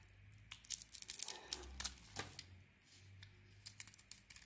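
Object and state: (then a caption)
Bar of soap being carved. A glossy dark blue coating is scraped and carved off a solid white bar of soap, held in the hand, with a utility knife blade. Quiet, dry, bright scratching and crisp tearing scrapes come in irregular short bursts with no ring after each stroke, over a faint low hum.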